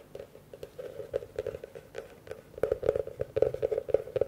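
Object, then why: Large plastic bowl. Fingertips and nails rapidly tap and scratch the outer surface of a large, empty blue plastic bowl whose rim faces the microphones. The quick, dry taps have a hollow, mid-pitched ring around 520 Hz that dies away almost instantly, and they grow louder and denser over the last couple of seconds.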